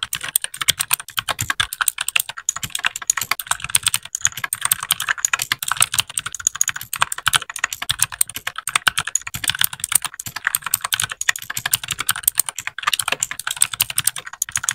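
Fingertips of both hands type continuously on a small white 60% mechanical keyboard with plastic keycaps. The result is a steady, rapid stream of crisp, bright plastic clacks with almost no low end. Each keypress stops dead with no ring.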